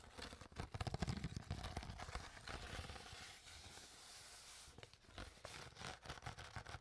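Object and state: Empty plastic water bottle.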